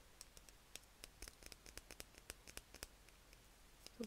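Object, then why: Small plastic vial filled with glitter. A small clear plastic tube filled with heart and star confetti glitter is held close and tapped and scratched with long red nails. Quick, sharp clicks and light scratches sound over a quiet background, ending with a slightly louder tap.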